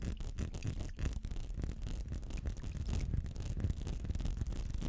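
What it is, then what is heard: Textured glass perfume bottle. Fingernails scratch over a small textured glass perfume bottle filled with amber liquid, held close to the mic. The result is a continuous, dense, low, rumbling scrape with rapid short strokes and little bright content.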